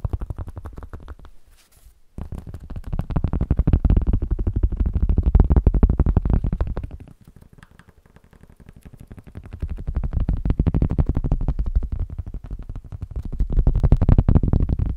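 Cork is tapped rapidly and continuously, producing dense, dull, low-pitched thuds with almost no ring. The tapping swells and fades in waves, dropping away briefly near the 2-second mark and again around 7 to 9 seconds before building back up.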